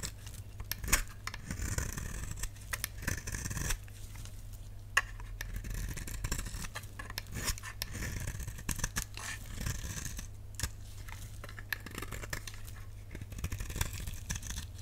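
A utility knife blade scrapes the surface of a solid pink dry soap bar held in the hand, leaving striations. Dense, dry crackling scrapes come in quick bursts over a steady low hum, with bright crisp edges and no ring.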